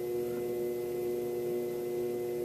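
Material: Nothing is struck.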